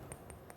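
A glass bottle is tapped lightly three times to tell whether it is glass or plastic, giving short, bright clinks over a low background rumble. The ringing tone confirms the bottle is glass, not plastic.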